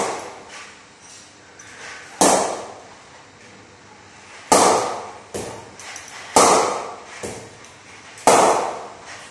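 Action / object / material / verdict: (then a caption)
knock / willow cricket bat struck by a ball / willow / none. An SG Players Extreme willow cricket bat is knocked in by repeatedly striking a hanging ball with its face. Four loud, sharp woody knocks stand out, with softer taps in between. Each knock has a midrange body and a bright attack that fades quickly.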